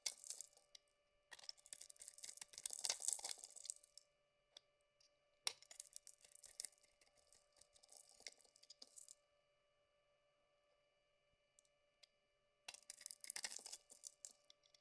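A utility knife blade carves and scrapes a solid lilac bar soap, partly shaved down to a cream-colored core, breaking off flakes and chips. Bursts of crisp, bright, crackly scraping and snapping come in three main stretches, separated by near-silent pauses with a few faint ticks.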